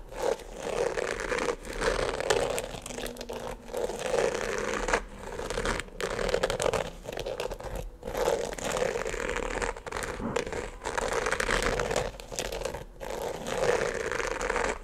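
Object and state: Glitter sneaker upper being scratched.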